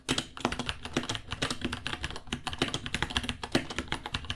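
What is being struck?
Plastic mechanical keyboard.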